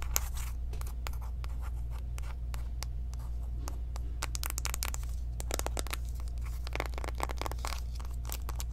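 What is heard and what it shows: Long nails tap fast on the flat faces of a small, closed, hollow pink cardboard eyeshadow palette box. The taps come as quick, crisp, bright clicks over a steady low hum.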